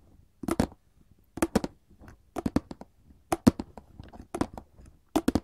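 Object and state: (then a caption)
Cardboard candy box. A printed paperboard chocolate box, held upright, is tapped with gold metal filigree claw nails. Quick clusters of short, dry taps come in bursts separated by brief pauses, each with a crisp bright click and almost no ring.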